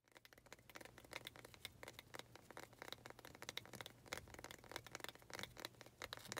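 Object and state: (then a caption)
Wooden planter. Long acrylic nails rapidly tap and scratch the sides of a small faceted wooden pot holding an artificial cactus, held in both hands. The result is a steady stream of quick, dry, bright clicks and scrapes with almost no ring, over a faint low hum.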